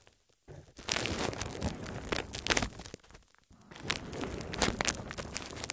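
A large, thin, clear cling-wrap-style plastic film sheet, loosely draped over a small microphone on a tripod, is scratched and crinkled by long red-painted nails and fingertips and rubbed against the covered mic. Dense, bright crinkling and rustling comes in two close bursts separated by a brief quiet pause, after a near-silent start.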